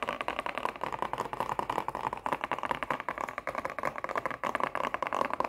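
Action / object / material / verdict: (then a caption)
tap / printed cardboard cosmetic box / cardboard / none. Long nails tap and scratch fast on a hollow, printed cardboard sheet-mask box that is held in the hand and turned. Dense, dry clicks and scrapes run continuously, with a papery midrange centered near 1 kHz, almost no low end, and very short decay.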